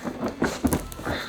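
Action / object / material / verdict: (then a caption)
shake / cardboard shipping box with bottles inside / cardboard / loose. A heavy cardboard shipping box marked fragile, holding a box inside a box with bottles of hot sauce, is shaken to guess what's inside. Its loose contents rattle and thump inside in four dull knocks.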